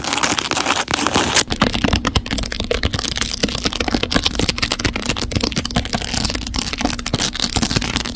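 Long neon acrylic nails rapidly scratch and tap a smartphone's hard plastic case, densely covered with small glass/acrylic rhinestones in a black-to-pink gradient and held in a clamp. The result is a continuous stream of sharp, bright clicks and gritty scratching, with a steady low hum underneath.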